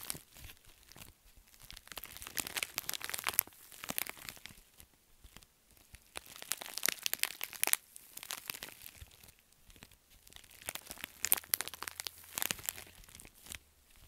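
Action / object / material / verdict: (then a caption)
scrape / metallic foil bubble mailer / metallic foil / none. A pink metallic foil bubble mailer is squeezed and crumpled in both fists, then scratched with nails. Bright, crackly crinkles and crunches come in dense bursts that swell and fade, with short quieter gaps between them and almost no low end.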